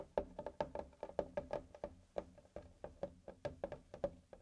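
Fingertips of both hands tap and drum near the top edge of a medium, flat whiteboard with a melamine-type surface and a plastic-edged frame, a solid thin panel lying on a table. A quick, uneven run of short, dry knocks each carries a hollow, woody tone around 590 Hz that dies away almost instantly.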